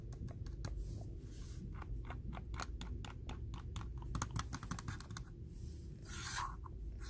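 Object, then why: Hard plastic computer mouse shell. Fingertips and short nails tap and scratch the glossy top shell of a red and black Logitech wireless mouse, a small hand-sized hollow hard plastic shell resting next to a laptop keyboard. A quick run of light, dry clicking taps gives way near the end to a brief, hissy scratching sweep.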